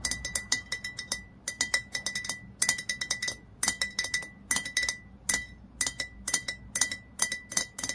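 A nail tip taps rapidly on the glass neck of a dark glass olive oil bottle near the cap. The result is quick bursts of bright, short clinks, each with a brief ring near 2 kHz.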